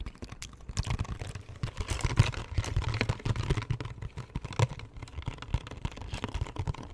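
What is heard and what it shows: A small printed cardboard box of Brach's peppermint candy, hollow and likely holding wrapped candies, is held in both hands close to the mic and tapped with the fingertips and nails on its front and sides. The result is a rapid, uneven stream of short, dry, hollow thuds with a low boomy body and occasional brighter nail clicks.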